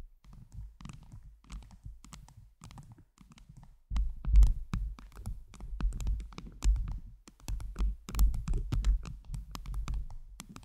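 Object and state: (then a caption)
Acrylic gem-covered microphone being tapped. Long, pointed jeweled nails tap rapidly on a round microphone head covered with blue acrylic heart gems. The result is a dense stream of soft, deep, thumping taps with very short decays. The taps stay quiet for the first four seconds, then grow noticeably louder and heavier.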